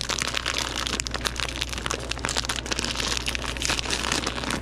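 A hand-sized, partly full clear plastic bag of wrapped taffy is opened, crinkled and squeezed by gloved fingertips throughout. The result is dense, continuous bright crinkling and crackling of plastic over a steady low hum.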